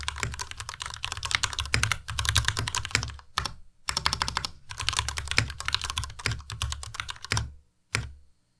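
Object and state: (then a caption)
Plastic mechanical keyboard. A compact white Ducky Miya Pro mechanical keyboard with white plastic keycaps and Cherry MX Red switches is typed on continuously with the fingertips of both hands. Rapid, dense keystrokes give bright plastic clacks over a low thocking bottom, with short pauses around three and a half and seven and a half seconds. A single last keystroke lands near the end before silence.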